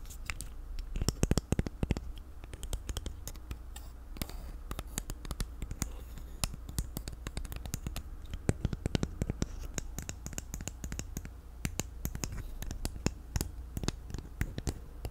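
A small black plastic infinity cube fidget toy has its segments flipped and clicked and is tapped with long nails. Rapid, sharp plastic clicks and taps come in dense bursts over a steady low rumble, each with a short, bright snap that dies away at once.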